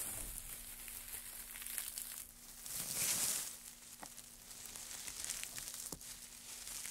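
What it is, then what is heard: Pile of wood shavings. Gloved hands gather, press and rub a pile of thin, light wood shavings, producing a dry, bright crinkling and crackling. The rustle swells louder around the middle as the shavings are pressed together, with a few sharp snaps standing out. A faint steady low hum sits underneath throughout.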